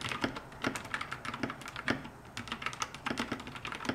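A compact 60% plastic mechanical keyboard with pastel keycaps and a white plastic case is typed on continuously with both hands, using fingertips and long nails. The result is a quick, irregular run of sharp, short clicks and clacks with a low body and bright tops, each dying away almost at once.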